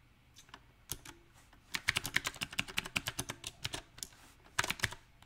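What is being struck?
Mechanical keyboard with round plastic keycaps.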